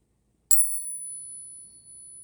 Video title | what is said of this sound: Saturday previews, Barber and Silver under melt. | that rang nicely 90% silver has a really nice ring to it